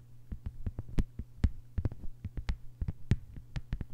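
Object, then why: Thin plastic cutting mat. Long white nails of both hands tap and scratch on a thin, flat green plastic cutting board lying on a table. A quick, uneven run of short, sharp clicks with bright tips cuts through a steady low hum, each tap dying away almost instantly.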